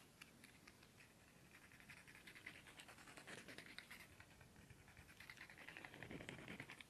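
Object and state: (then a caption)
Cardboard incense stick box. A long, thin, hollow cardboard incense stick box with red and black print is held horizontally and tapped quickly with fingernails and fingertips. It makes a fast, uneven patter of soft, dry, papery taps with bright clicky edges and a faint hollow low thump. The taps grow slightly louder toward the end.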